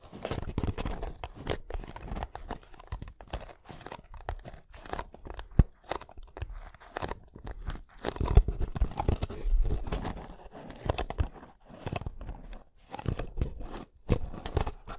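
A hollow kraft cardboard box, held horizontally in both hands, is tapped and scratched across its faces by fingertips. The result is a dense, irregular run of dull, low thumps and dry, crunchy scratching with quick decay, plus occasional sharper taps.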